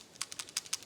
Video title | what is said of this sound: How To Do A Simple Tune Up on Your Car or Truck | when you shake it you'll hear that ball valve and they're moving and it has to move freely